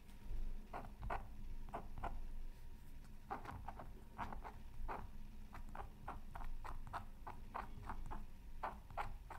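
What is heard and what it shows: A thin wooden stylus held in the fingertips scratches lines through the black coating of a flat square of scratch art paper lying on a silicone mat. Short, dry scratching strokes come in a quick, irregular series over a low, steady hum.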